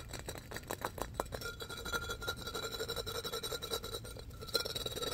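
An empty, hollow, light-blue pressed-glass pitcher with an embossed pattern is tapped and scratched with fingertips and nails. Quick, dense taps and scratches give short, bright glassy clinks over a steady raspy scraping texture, each tap dying away almost at once.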